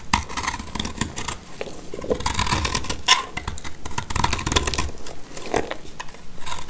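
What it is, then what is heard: Dry soap scraped with a blade. A black utility knife blade shaves and scrapes crumbly curls from a solid, dry blue soap chunk held in the hand. The result is a steady run of dry, crackly scraping with many sharp, bright clicks and a faint ringing tone around 1 kHz, over a soft low rumble.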